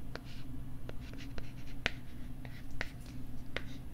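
A thin, flat pink plastic LCD writing tablet is held against the side of the microphone while fingertips tap and scratch its back. Short, dry, clicky taps ring out over soft scratching, with a steady low rumble underneath throughout.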